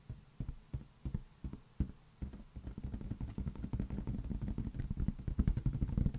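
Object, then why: Inflated latex rubber balloon. A large, hollow, air-filled green latex balloon, held in one hand, is tapped with the fingertips, giving dull, low, boomy thumps. The taps start sparse and spaced apart, then speed up into a rapid, dense drumming that grows slightly louder toward the end.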